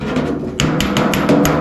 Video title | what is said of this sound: How To Remove a (Dent) From Your Car With A (Hammer & Dolly) DIY | When you're on dolly, hear that ping ping ping.